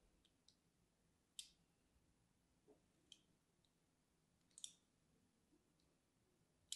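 A thin metal needle tool scratches lines into the surface of a small, solid pink bar of soap held in one hand. Quiet, sharp, bright scratching clicks come at irregular intervals and die away almost at once, with near silence between them.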